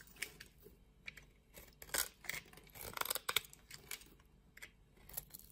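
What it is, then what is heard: Soap bar being shaved with a blade. A utility knife blade shaves the scored surface of a solid pink soap bar held in the palm, leaving small flakes. Irregular, crisp scraping cuts with bright, high crunches and short bursts of shaving noise repeat throughout, with little low end.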